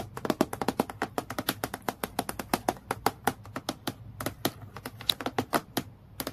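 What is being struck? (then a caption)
Acrylic plastic clipboard. Long fingernails tap quickly on the flat face of a transparent acrylic plastic clipboard with a metal clip, lying flat on a dark surface. About 37 sharp, dry clicks come in a rapid, uneven stream, each dying away almost at once with no ring.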